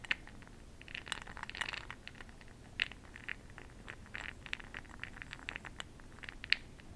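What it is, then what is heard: Glass jar of bronzing pearls. A makeup brush is swirled and stirred through small bronze makeup pearl beads in a small, open-topped clear glass cup held in one hand. The pearls rattle against each other and the glass in quiet, bright, clicky bursts that stop almost instantly, with a few sharper taps standing out.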